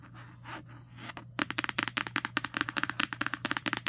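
Long nails trace and scratch the illustration on the matte cardstock cover of a paperback book lying flat. Soft, quiet tracing gives way after about a second and a half to a quick, steady run of around nineteen crisp, bright scratch strokes over a faint low hum.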